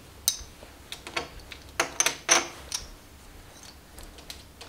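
A small stack of composite clay/plastic poker chips, held in both hands, is clicked and riffled together by fingers with long nails. Around ten separate, bright, high clicks ring briefly, some landing in quick clusters, with quiet pauses between them.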